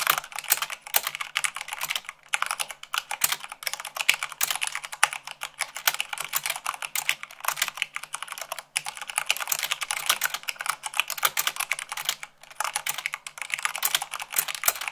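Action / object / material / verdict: tap / plastic mechanical keyboard / plastic / none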